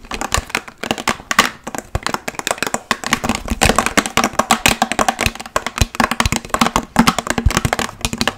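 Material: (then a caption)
Plastic. Long nails covered with paperclips tap fast on a large, clear, hollow plastic water bottle that is partly filled with water. Dense, rapid clicks come in uneven bursts, each with a bright metallic tick and a short hollow ring around 230 Hz. Each tap dies away almost at once.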